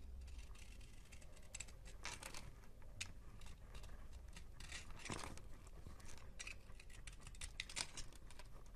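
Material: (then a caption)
Soap. A teal box cutter shaves and scrapes curls off a solid rectangular yellow bar of soap with an embossed logo, held in the hand. Soft, crisp scraping strokes come one after another with a bright, dry hiss and brief crackles, over a steady low rumble. Each stroke is short and dies away almost immediately.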